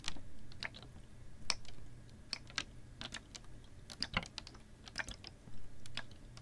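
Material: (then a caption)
Plastic. Long nails tap a clear, ribbed PET plastic water bottle that is hollow with a little water inside and held horizontally. The result is a quick, irregular run of sharp, bright, dry clicks that die away almost at once, over a quiet, steady low hum.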